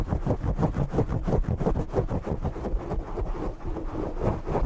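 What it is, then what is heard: Foam microphone windscreen, scratched and tapped. Fingertips and short nails scratch and tap the black foam windscreen on a desk microphone. The result is a dense, muffled rumble of rapid, uneven rubbing and thumping strokes, almost entirely low and boomy with no bright content, and each stroke dies away quickly.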